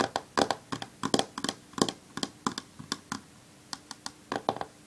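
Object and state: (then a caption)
Smartphone glass screen tapped with fingernails. Long fingernails rapidly tap the glass screen of a black smartphone lying flat on a wooden table while the other hand holds it. About twenty quick, sharp clicks come in uneven bursts, each dying away almost instantly with a bright, thin tone. Faint quiet gaps separate the taps.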